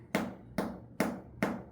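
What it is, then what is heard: Ripe jackfruit. A ripe jackfruit is tapped four times with a finger flick to check its ripeness by sound. Each tap gives a short, dull, low thud that fades quickly. The dull sound confirms the fruit is ripe, and its skin is soft enough to yield when pressed.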